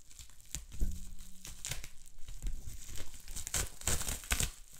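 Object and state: Plastic bubble wrap.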